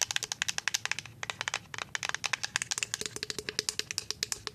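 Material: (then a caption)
Plastic. A full white plastic liquid soap pump bottle is tapped with paper-clip-covered nails, about thirty quick, dry clicks in an uneven rhythm. Each tap is short and bright, with almost no ring and very little low end.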